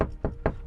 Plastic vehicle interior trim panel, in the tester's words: c'est beaucoup de plastique vous entendez que ça résonne